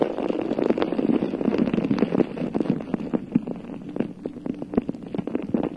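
A bare, hollow, round metal mesh microphone head is cupped and scratched with long nails, giving a dense, crackling scrape full of sharp ticks centered in the low midrange. The first two seconds are louder and thicker, then the scratching thins into quieter, more separate clicks.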